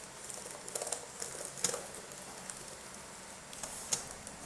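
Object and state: Plastic laptop keyboard.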